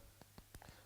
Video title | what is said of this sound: Tonic Herb, Superfood Raw Cookies, High Protein, Low Fat, How to Make Recipe | so they're kind of hard right if you can hear that